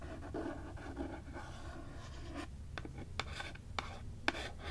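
Long nails scratch and tap the printed board cover of a small cardboard-covered "Tales of Terror" hardcover book, or book box, held upright in one hand. A steady rough scratching over a low background hum gives way to a few sharp, bright, short taps on the cover.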